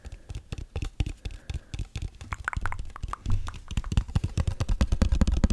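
A small, hollow teal cardboard gift box with a satin ribbon is held in front of the microphone and tapped and scratched with fingertips and nails. Quick, irregular soft taps give dull, low thumps with very short decay, mixed with brief scratchy brushes, and they grow busier and louder toward the end.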